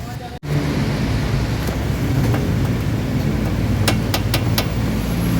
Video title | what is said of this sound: All New FKM 💥 Hunter 150 Price Specs Philippine 2025 Short Review | narinig nyo naman, latang-lata, walang depensa